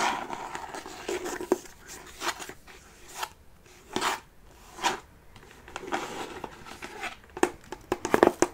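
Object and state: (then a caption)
Hollow faux-leather-covered wooden chest. Fingertips and nails tap on the curved top of a closed, hollow mini chest made of wood covered in faux leather with metal studs. The taps come in irregular clusters, soft and dull with a low-mid body and a slight crinkly brightness, each dying away almost at once.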